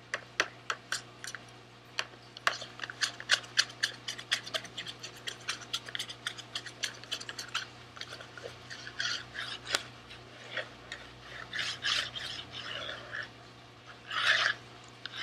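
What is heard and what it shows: A small sealed SweetTarts cardboard box with candy inside is held in one hand and scratched with the fingernails of the other. Dozens of quick, sharp, bright scratches and ticks come first, then they give way to softer rasping rubs, with a louder scratchy burst near the end. A faint steady low hum sits underneath throughout.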